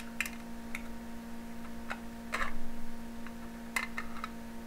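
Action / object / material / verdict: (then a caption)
tap / aluminum foil stretched over a small glass jar / aluminum foil / none. Aluminum foil pulled tight across the mouth of a small glass jar, held in one hand, is repeatedly pierced and poked with a thin metal needle. About eight sharp, crisp ticks and crackles come at an uneven pace, with a brief, louder cluster of crinkling in the middle. A steady low hum sits underneath throughout.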